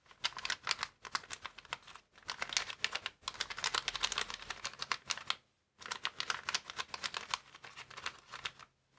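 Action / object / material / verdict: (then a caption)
tap / clear plastic air-column packaging bag / plastic / none. Fingertips rapidly tap and scratch across a flat, clear plastic air-column packaging bag resting on a wooden table. Dense, bright crinkling clicks and scratches come in bursts, with short pauses between them and a longer silence just past the midpoint, and there is almost no low end.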